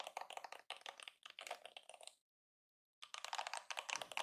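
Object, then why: Plastic detangling hairbrush bristles. A fingertip and nail strum along the rows of flexible plastic bristles on a yellow plastic detangling hairbrush held in one hand. The result is quick, bright, dry ticking and clicking in rapid bursts. The strumming stops for a brief silence, then resumes.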